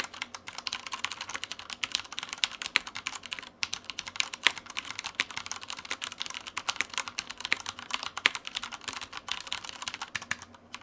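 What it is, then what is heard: Plastic mechanical keyboard. A black tenkeyless Taipon Mars Pro mechanical keyboard with Cherry brown switches, plastic keycaps and a light frame sits on a white desk and is typed on continuously with the fingertips of both hands. The result is a steady, dense stream of short, bright plastic key clacks with almost no low end, with occasional sharper, louder strikes standing out.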